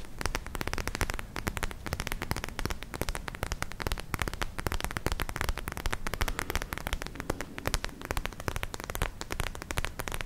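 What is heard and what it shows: A palm-sized, soft, clear purple plastic gel ice pack pouch with glitter beads is scratched and tapped with long nails in both hands. The result is a dense, steady stream of rapid crackly clicks and scratchy taps over a soft, low, thumping body, lasting the whole clip.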